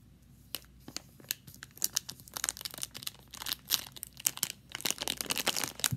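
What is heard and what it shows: A large Twizzlers plastic bag full of red licorice is tapped, scratched and crinkled with fingertips and long nails. It gives crisp, bright crackles and sharp clicking taps with little low end, in dense irregular bursts that grow busier toward the end.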